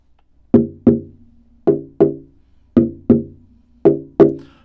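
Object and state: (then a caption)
Koa guitar back tap tone. The koa back of an unstrung koa OM acoustic guitar with a hollow body, held upright on a chair, is tapped with a thin wooden stick. Eight short, hollow, woody knocks sound in four quick pairs, each with a brief resonant ring centered around 400 Hz that dies away fast.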